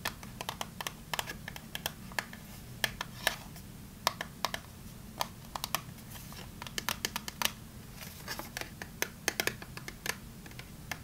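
A small, closed, printed cardboard Fa soap box is tapped and scratched with long nails while being turned in the hands. Dozens of sharp, bright, dry clicks and scratches come in irregular bursts, each dying away almost instantly. A faint low hum runs underneath.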